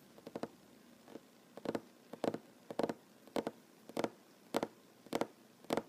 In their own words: Tapping on wooden table, mostly one handed. No talking.